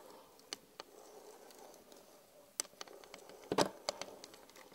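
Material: Glass.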